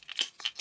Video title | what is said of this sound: Boat Fishing (Part 4) Trolling Lures | They've got rattles inside, as you can hear. And when you hear them on underwater footage, you can actually hear them rattling away.